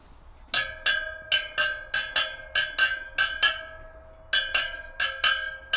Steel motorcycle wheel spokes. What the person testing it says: on s'assure juste que ça sonne à peu près pareil